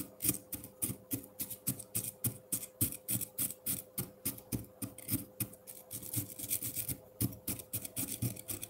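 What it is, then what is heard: Frozen milk ice block scraped with a fork. The metal tines of a fork scratch and scrape shavings off the face of a solid frozen pineapple milk ice block in a ceramic bowl. Short, dry, crunchy scrapes repeat about three to four times per second in an uneven rhythm. Each scrape has a low thud and a bright, hissing top, with a faint steady hum underneath.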